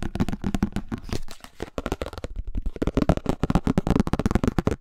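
A pink, empty plastic flying disc with a hollow underside is held in both hands close to a microphone and tapped and scratched on its rim and underside with fingertips and nails. The result is a fast run of short, dry, hollow knocks with a low thump, mixed with soft scratchy rustling. The taps come in quick bursts, with a brief quieter stretch in the middle.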